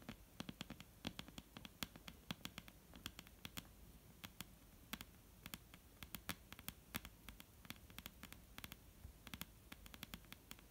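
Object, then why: Wooden table top. Long painted nails of both hands tap and lightly scratch a solid, dark brown wooden table top. Dozens of quick, dry, bright clicks land in uneven bursts over a soft scratchy rustle and low hum. Each tap stops at once with no ring, and the overall level stays quiet.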